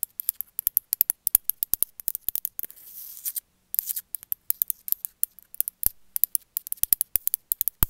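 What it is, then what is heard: Glazed ceramic figurine tapped with nails. A small gray glazed ceramic cat figurine, held in the hand, is tapped rapidly with long metallic nails, producing a quick series of sharp, bright clicks that die away almost instantly. Around the middle, the tapping briefly gives way to a softer, hissy scratching before the crisp taps resume.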